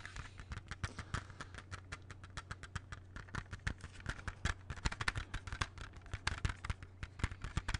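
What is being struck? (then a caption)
Plastic CD jewel case. Fingertips tap steadily and rapidly on the cover of a closed, hollow plastic CD jewel case held in both hands. The taps are short, dry clicks with brief hollow knocks and no ring, heard over a steady low hum.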